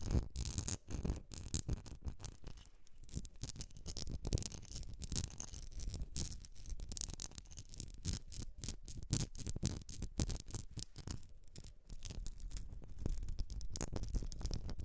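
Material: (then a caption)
Glass. Long nails scratch and tap the sides of a medium etched glass jar filled with solid wax, making a dense run of rapid, dry clicks and scraping textures. The strokes are short and quiet, with most of the energy in a low thud and brief bright ticks on top.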